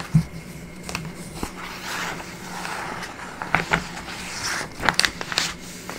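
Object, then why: Printed paper booklet. Fingertips and nails rub and scratch across the pages of an open, thin, soft-cover printed paper booklet of a few pages lying on a wooden table, flattening them. Soft, papery swishes and scrapes run under a faint steady low hum, broken by several short, sharp scratches and taps.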